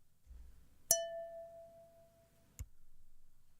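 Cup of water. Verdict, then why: Full. A cup filled with water is tapped twice. The first tap rings out as a clear, chime-like clink around 670 Hz that fades over about a second and a half, and the second tap is a short, duller click.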